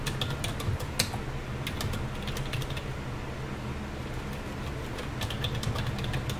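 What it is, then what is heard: Plastic computer keyboard. A black plastic computer keyboard with hollow key caps rests on a desk and is typed on continuously with the fingertips of both hands. Quick, bright key clicks come in bursts, thin out in the middle, then pick up again near the end, all over a steady low hum.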